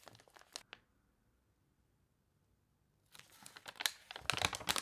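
Fingertips rub and turn the wavy pages of a water-warped paper toy catalog, giving bright, crisp crinkling and crunching. A short burst of crinkles is followed by about two seconds of near silence, then a denser, louder run of rustling crackles as the page is turned.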